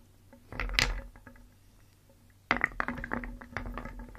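Small solid painted wooden pieces in a round wooden bowl are scooped and stirred with a wooden spoon, so they rattle together. A short burst of dry, bright clicks and clatter comes first, then a longer stretch of jostling wooden knocks after a brief quiet pause.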